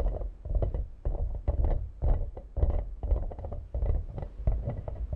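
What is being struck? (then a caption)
Plastic toy ball. A hand-sized, hollow, translucent green plastic toy ball with small frog-like legs is held in both hands and tapped and scratched with long manicured nails. The result is a rapid, uneven string of dull, hollow taps and short scratchy bursts, heavy in low tones with quick decay and no lingering ring.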